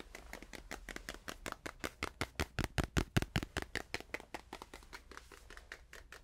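A small stretched canvas panel is tapped quickly with fingers, up close and farther away. About 34 short, dry taps with a low thump come in a fast, uneven patter, growing louder toward the middle and then softening again.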